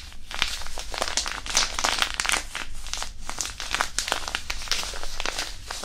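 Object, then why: Disposable hand warmer, non-woven fabric pouch filled with iron powder. A small white disposable hand warmer, a non-woven fabric pouch filled with iron powder, is rubbed and crumpled with the fingertips right over the mic. It makes a steady stream of dense, bright crinkling and scratchy rustling with a soft low rumble underneath.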